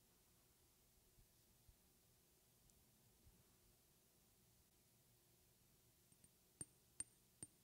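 Long red-painted fingernails tap a small, clear glass perfume bottle with a white plastic cap, hollow and partly filled with liquid. After a long, near-silent stretch with faint soft ticks, three sharp, bright clinks ring out near the end, each with a high glassy ping that dies away almost at once.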